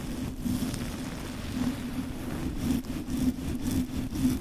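A dark, fluffy synthetic-hair wig or fur windscreen covering a microphone is scratched and rubbed vigorously with the fingertips of both hands. The result is a dense, continuous crackling rustle with a strong low-mid body around 250 Hz and bright scratchy flicks on top, swelling and dipping as the fingers move.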